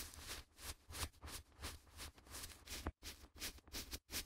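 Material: Paper.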